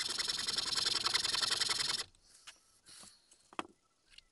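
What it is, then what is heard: Small wooden mask being filed. A small, solid, pale wooden keychain mask blank, held flat on a mat, is filed with a large flat metal file, giving about two seconds of fast, even, bright rasping strokes. The filing then stops, and a few faint, scattered scrapes and light ticks follow as a thin needle file is used.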